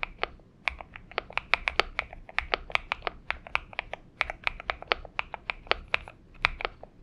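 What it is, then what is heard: Mechanical keyboard with PBT keycaps. A purple Xinmeng M71 mechanical keyboard with PBT keycaps is typed on with the fingertips of both hands. Quick, crisp, bright clicks and clacks come in an uneven, steady rhythm, each keystroke sharp and very short with almost no ring.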